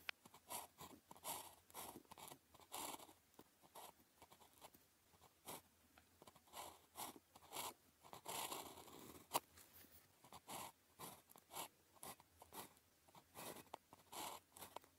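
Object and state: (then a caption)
Ballpoint pen writing on paper. The tip of a blue plastic ballpoint pen, held in the fingers, writes across a thin grid-printed calligraphy practice sheet lying flat on a desk. About 25 short, quiet scratching strokes rasp one after another in bright, dry bursts with almost no low end. Each stroke stops cleanly between marks.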